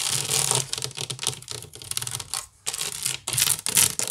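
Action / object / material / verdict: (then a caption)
scrape / woven wicker basket / wicker / none. A hollow, empty woven wicker basket is scratched quickly with nails across its weave. The result is a dense, bright, raspy scratching in rapid irregular bursts with a faint low hollow body, briefly pausing before resuming louder.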